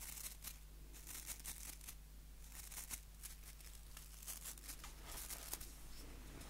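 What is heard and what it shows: Fingers scratch the white plastic bristles of a small, solid wooden nail brush held close to the microphone. The result is quiet, dense, bright crackly scratching in quick uneven bursts over a steady low hum.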